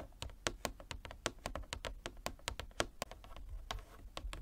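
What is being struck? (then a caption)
Wooden chess board. Fingernails tap rapidly on a wooden chess board, making a quick series of about twenty short, dry clicks. Each tap is bright and dies away almost at once, with a light, hollow wooden knock underneath.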